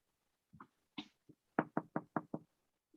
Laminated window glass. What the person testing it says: you can hear it's very inert that's three quarter inch sound ready laminated glass there's no ringing